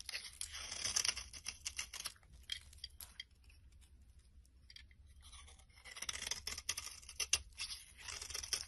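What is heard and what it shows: A solid brown bar of soap held in the hand has a blade scraping curled orange shavings off its top. The result is a string of dry, bright, crisp scraping and crackling strokes. The strokes come in dense bursts, with a quieter stretch in the middle before they pick up again.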